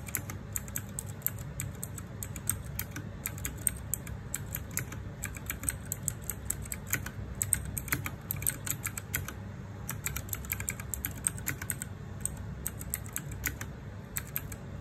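Fast fingertip typing on a small 60% RGB-backlit mechanical keyboard with plastic keycaps produces a dense, continuous stream of short, bright clicking keystrokes. A steady low rumble sits underneath throughout, and each click dies away almost instantly.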